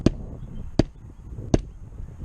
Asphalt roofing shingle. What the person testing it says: you can hear it they just moved everywhere so the granule loss gets a fail